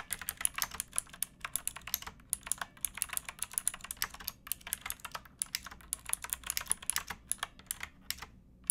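Fingertips with painted nails type on a pink backlit plastic mechanical keyboard with round keycaps and a hollow case, resting on a wooden box. The result is a steady stream of quick, bright, clicky key taps with almost no ring and little low end.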